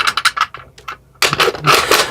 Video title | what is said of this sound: Unboxing and Review Nerf Modulus Recon MKII | For whatever reason, this ring here is pretty loose.